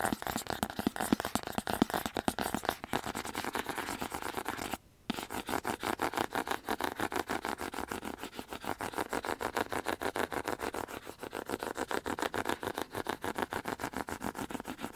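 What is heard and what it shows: A small, hollow, white printed cardboard earbud box is held in the hand and rapidly scratched and tapped with fingernails, producing a dense stream of dry, crisp clicks and scrapes with a papery, hollow tone. The fast tapping pauses briefly around five seconds, then carries on steadily to the end.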